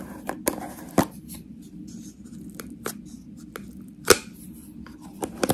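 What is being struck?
Small plastic jar with metal screw lid.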